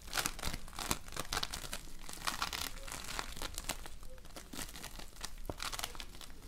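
A lump of floam, a slime made of tiny colored polystyrene foam beads, is squeezed, folded and pulled by hands. It gives a steady run of dense crackling, crunching and crinkling sounds with a bright, rustling texture.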